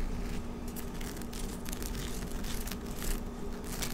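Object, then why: Woven vinyl placemat. A thin, flexible, rectangular dark woven vinyl (PVC mesh) table placemat is held up off the table and scratched and rubbed with long nails across its textured weave. The result is a continuous dry, crinkly scratching with brief bright rasping bursts over a steady low rumble.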